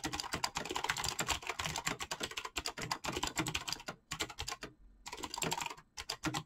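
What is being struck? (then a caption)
Mechanical keyboard with PBT plastic keycaps. Fingertips type rapidly on a full-size backlit mechanical keyboard with PBT plastic keycaps, producing a dense stream of short, bright, clacky keystrokes that stop almost immediately. The typing pauses briefly just before the 4-second mark and again near 6 seconds before picking back up.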